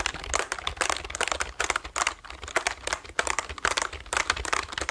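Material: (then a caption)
Plastic. Fingertips type quickly on the orange keys of a black plastic computer keyboard held close to the mic. The result is a rapid, uneven patter of short, dry clicks with bright, crisp edges and very little low end.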